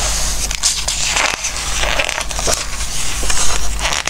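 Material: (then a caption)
Glossy paper. Fingertips rub and scratch across the glossy pages of a Christmas book and turn them, making a continuous dry, crackling scrape with brighter rustles as each page moves. A steady low hum runs underneath throughout.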